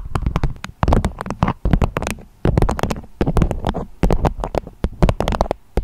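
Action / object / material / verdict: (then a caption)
tap / beeswax-coated fabric wrap / waxed fabric / none. Long acrylic nails tap and scratch a beeswax-coated fabric food wrap with a strawberry print, shaped into a dome. A rapid, uneven series of short, dull taps with a low, hollow thump is heard, each with a crisp, bright click on top. Brief soft scratching fills the gaps between bursts of tapping.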